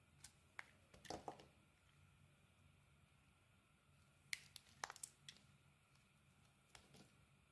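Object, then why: Bar of soap cut with a knife. A utility knife peels strips of lime-green coating off a solid oval soap bar with a white core, held in the hand. About twelve short, crisp, bright scraping clicks come in quiet clusters near the start and middle, each cutting off almost at once over a faint low hum.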